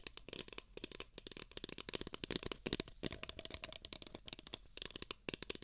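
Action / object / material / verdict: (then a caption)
tap / paper cup / paper / none. Fingertips and nails rapidly tap two identical empty beige paper cups, which are hollow. The clip is a dense stream of quick, dry, bright clicks and knocks with a faint hollow low-mid tone. Each tap dies away almost instantly.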